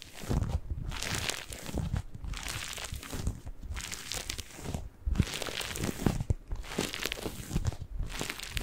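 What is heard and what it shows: A single yellow and green porous cellulose kitchen sponge is squeezed and scratched with fingers and nails, giving dense, crackly crinkling and crunching. The sound comes in repeated bursts with brief quiet gaps between them, full of low thumpy body and bright scratchy detail.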